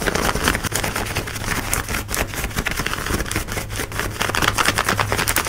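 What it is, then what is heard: Denim jeans being scratched. Long nails scratch quickly over light blue denim jeans worn on the hip, across the pocket and rivet area. The result is a dense, continuous rasping with bright scratchy texture over a steady low hum, the strokes blurring together without clear gaps.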